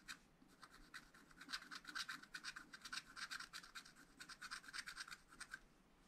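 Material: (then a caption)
Waxed paper. A wooden stylus scratches the coating of a wax-coated scratch-art paper pad, etching flower stems. A quick series of short, dry, bright scratching strokes repeats steadily with very little low end.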